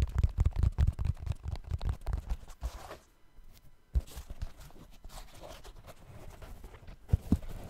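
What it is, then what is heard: Synthetic mesh running shoe. Fingertips tap and scratch the synthetic mesh upper of an empty, hollow black trail running shoe held close to the mic. Dense, irregular soft thumps with a deep low body come first. They give way to a quiet pause, then lighter scratching and a few sharper taps near the end.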